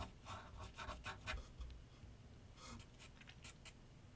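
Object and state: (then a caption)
Pencil scratching paper on a drawing board. A graphite pencil scratches sketch lines on a large flat sheet of white paper on a board set on an easel. Quick, irregular strokes make soft, bright, papery scratching bursts over a faint low rumble, with quieter, lighter strokes toward the end.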